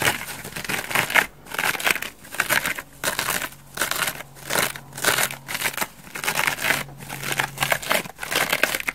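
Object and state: Foam bath sponge.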